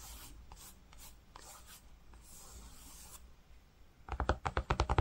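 A fingertip and nail trace across grey-green woven cotton fabric, making soft, breathy scratching strokes with a bright, hissy edge for the first four seconds. The sound then switches to a quick, uneven run of sharper, louder taps on the cloth, each short and dry with almost no ring.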